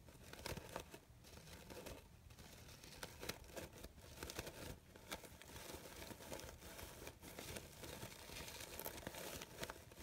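A large cream artificial rose with thin fabric petals is rubbed and crumpled by fingertips with long pink nails. The result is a steady, soft crinkling and rustling with frequent small crackles spread across the whole span, quiet overall with bright edges.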